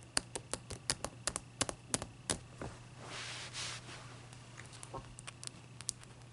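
Long nails tap and scratch the faces of a single solid, clear ice block as it is turned by hand on a towel. Quick, irregular, sharp bright clicks come in bursts, with a soft hissing scrape in the middle, over a faint low steady hum.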